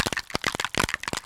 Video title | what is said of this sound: Creative Cravings with Leann & Debby | shake this so you can hear that there are little balls in there so that when you shake it up it agitates the metallic in the bottom